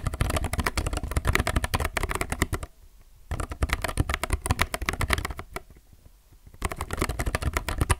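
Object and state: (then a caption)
Plastic mechanical keyboard. A low-profile mechanical keyboard with plastic keycaps is typed on fast with the fingertips of both hands, up close. It makes dense, crisp clacking with a low thud under each press. The typing comes in three bursts separated by two short pauses.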